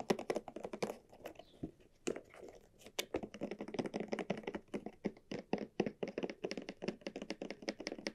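Long nails and fingertips tap quickly over the surface of a small, hollow, cylindrical red croc-embossed leather bag with straps, held in both hands. A steady run of dry, short taps and clicks follows, each with a hollow mid-range body that dies away almost at once.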